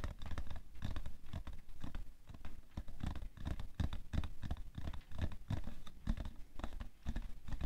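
The side of a hollow, printed cardboard tissue box full of tissues, resting on white fur, is tapped quickly with fingernails. The result is a steady run of rapid, dull, low thuds with a light scratchy texture, each dying away almost at once.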